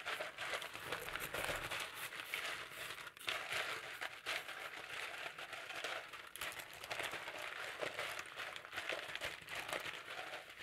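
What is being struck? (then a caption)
Potato chips on a plate. Fingertips press, crunch and rummage through a pile of thin, dry, yellow potato chips on a shallow blue-rimmed plate held in one hand. The result is a steady, bright crackling and crinkling with dense overlapping crunches, little low end and a short dip about three seconds in.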